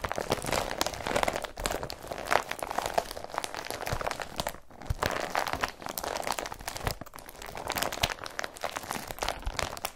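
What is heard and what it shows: Fingertips and short nails rub and crinkle an empty blue IKEA BRATTBY carrier bag made of woven polypropylene plastic. The result is a dense, continuous crackling rustle with sharp little crunches, centered in the midrange around 800 Hz with some bright edges. It dips briefly in loudness now and then before building back up.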